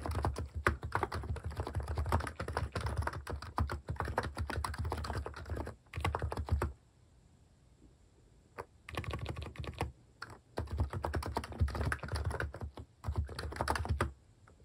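Fingertips type rapidly on a plastic mechanical keyboard with cat keycaps, producing dense bursts of short, clicky keystrokes with a deep thock. The typing pauses for about two seconds in the middle, then resumes in quick runs before stopping near the end.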